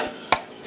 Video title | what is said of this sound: Guitar Physics and the i-beam bracing | It should be much brighter because the braces are much smaller and it's much closer together.